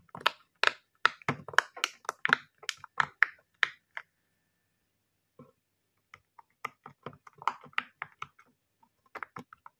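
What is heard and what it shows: Fingertips press and pop the hollow bubble domes of a flat, hand-sized, Mickey Mouse-shaped rainbow silicone pop-it fidget toy lying on a table, with other pop-its lying nearby untouched. A quick run of crisp, dry tapping clicks lasts about four seconds. After a short pause, sparser and softer pops resume.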